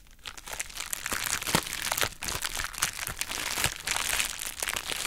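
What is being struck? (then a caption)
Plastic bubble wrap pouch. A pink, heart-shaped plastic bubble wrap pouch is squeezed and folded open by hand with long nails. The result is a steady, bright crinkling with sharp crackles throughout.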